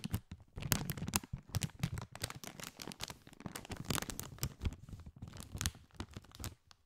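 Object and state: Crinkled foil-lined chip bag.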